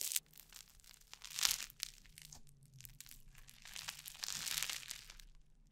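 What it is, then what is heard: Crunchy foam-bead slime (floam). Orange crunchy foam-bead slime (floam) is kneaded, pressed flat and pulled apart by both hands close to the microphone. It gives off bright, dense crunching and crackling with soft crinkling pops, swelling in loud bursts near the start and the middle, then building again toward the end before fading.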